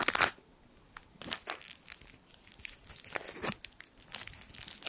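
A small gold foil sweet wrapper is twisted and crinkled with the fingertips, giving bright, papery crackles in quick irregular bursts. Sharp snaps around the first quarter second and near the middle stand out over softer rustling, with brief near-silent gaps and almost no low end.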